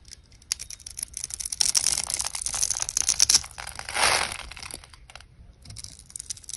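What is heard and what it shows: A utility knife blade scrapes and cuts a solid pink oval soap bar, pre-scored in a grid and held in the hand, shaving off small cubes. The sound is a dense run of crisp, bright, crackly scraping and flaking with almost no low end, swelling into a longer, louder shave near the middle before thinning out into scattered light crackles.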